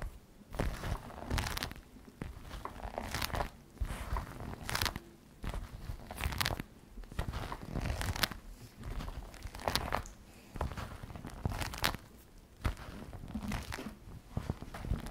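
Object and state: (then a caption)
Patent leather messenger bag. Fingertips with long red nails tap and scratch the shiny flap of a glossy black patent faux leather messenger bag with white trim, lying flat on a table. Dense clusters of dry taps and crinkly, scraping scratches come in uneven bursts with brief pauses, each tap dying away almost instantly, with a bright, crisp edge over a soft thumpy low end.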